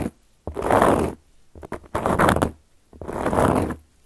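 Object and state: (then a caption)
Cork coaster being scratched. Long gold metal claw nails scratch across a round, flat, solid cork coaster. Drawn-out, rough scraping strokes come in separate bursts, with a few short quick scratches in between, each fading out quickly with little ring.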